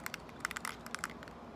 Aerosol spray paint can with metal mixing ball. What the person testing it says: need to keep shaking it until you hear that rattle